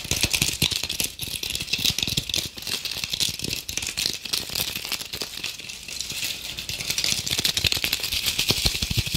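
Long acrylic nails rapidly scratch the rough, sparkly surface of a hand-sized red glitter apple ornament with a stem, held close up. The result is a fast, dense, bright rattling scrape, with crisp rapid ticks running continuously throughout.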